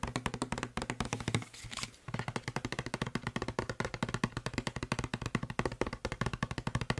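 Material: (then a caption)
Plastic. Fingertips and nails tap fast on the side of a hollow blue plastic Febreze spray bottle. The result is a rapid stream of short, dry, knocking taps with a low hollow thump and brighter clicks. Around the middle, a brief softer stretch of hissy sound breaks the pattern before the quick tapping resumes.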